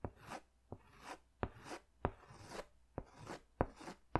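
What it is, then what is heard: Pastel crayon rubbing on a paper sketch pad. A pink pastel crayon is rubbed and scratched over a colored swirl on a large white paper sketch pad. Seven sharp, short taps stand out, each followed by a soft, broad, scratchy rubbing stroke that swells and fades. The rhythm is quiet and unhurried.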